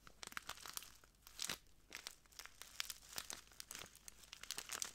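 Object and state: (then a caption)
Plastic bag of clear granules. A small clear plastic bag full of translucent granules is crinkled and squeezed by the fingertips of both hands. The result is a quiet, steady run of bright, crisp crackles and rustles with sharp little snaps and almost no low end.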